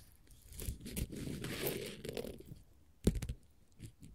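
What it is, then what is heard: Glitter faux leather sheet. A flat, solid orange glitter faux leather sheet is scratched and tapped with long, pointed gold metal finger-jewelry nail caps. Soft, gritty scratching swells through the middle of the clip, followed by sharp, bright taps that end quickly.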